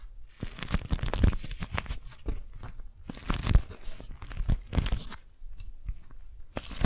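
Hands crumple an orange-print beeswax-coated cotton food wrap, with fingers squeezing and crinkling the sticky waxed fabric. Dense bursts of crackling, tearing-like crunches come in uneven waves, each burst reaching bright highs over a heavy low-end rumble. The crackles stop quickly with no ring between them.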